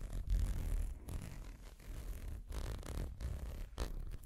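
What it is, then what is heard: Amber glass dropper bottle. Fingers scratch and rub the white plastic dropper cap and blue bulb of a small amber-brown glass dropper bottle. The result is a dense, low, rumbling scratching and rustling, broken by a few brief pauses between bursts of rubbing.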